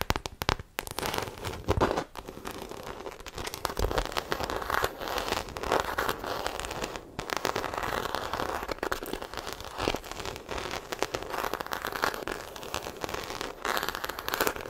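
Long acrylic nails scratch the embossed surface of a small black croc-embossed faux leather shoulder bag held beside a microphone. The result is a dense, continuous run of dry, crackly scratching, bright and rough in texture, rising and falling in short bursts throughout.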